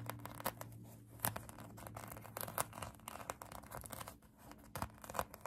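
Long acrylic nails scratch a pink polyurethane foam donut squishy toy, making quiet, dry, crinkly rasps with sharper bright scrapes scattered throughout. A steady low hum sits underneath the whole clip.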